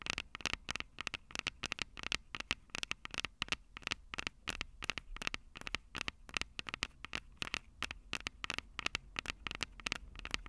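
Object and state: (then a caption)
Fingernails tapping metal mesh microphone capsules. Long purple acrylic nails rapidly tap and scratch the two small crossed metal mesh microphone capsules of a Tascam DR-05 handheld recorder, whose plastic body is hollow. The result is a fast, steady run of sharp, dry clicks with almost no ring, bright and thin with a metallic tone near 2.7 kHz, over a faint scratchy hiss and low hum.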